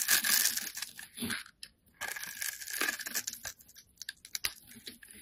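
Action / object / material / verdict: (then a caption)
scrape / solid bar of soap shaved with a metal blade / soap / none. A solid rectangular green bar of soap, held in the hand, is shaved and scraped with a metal utility blade so that soap curls flake off. The result is a quiet run of bright, crisp tearing and crunching scrapes with a steady tone near 1.6 kHz, broken by brief silences and ending in short, uneven strokes.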